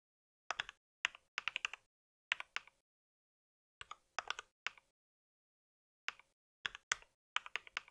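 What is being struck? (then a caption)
Mechanical keyboard with plastic keycaps. Fingertips type on a compact white mechanical keyboard with plastic keycaps resting on a pink mat. Short bursts of sharp, bright clacking keystrokes come in quick clusters separated by pauses of silence. Each click is dry and dies almost instantly, with no low-end thump.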